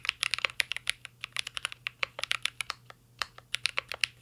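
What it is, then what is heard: Mechanical keyboard with plastic keycaps. Fingertips type continuously on a mint-green Cyberboard R3 mechanical keyboard with plastic keycaps and a metal case. About 27 short, bright clacky key taps come in an uneven rhythm, each clicking off almost instantly with a sharp tone near 2.8 kHz.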